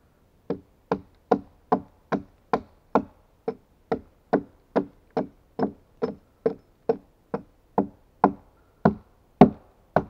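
A steel axe held in gloved hands makes 22 short chopping strikes on the hewn face of a solid pine log. Each strike is a dry, hollow wooden thunk with a low-mid body that dies away almost at once. The hits come in a steady rhythm, and the last few land harder.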